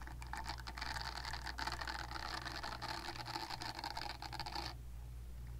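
Long nails scratch the silicone bristles on the nub side of a purple silicone facial cleansing brush pad, making a dense, rapid, bright scratching texture over a steady low hum. The scratching stops near the end, leaving only the low hum.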